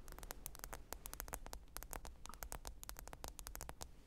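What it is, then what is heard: Smartphone glass screen. Long pointed nails tap and scratch the glass screen of a small, thin black smartphone lying flat, screen up, on faux fur. A rapid, irregular patter of crisp, bright clicks dies away almost instantly, over a faint low rumble and soft scratchy hiss.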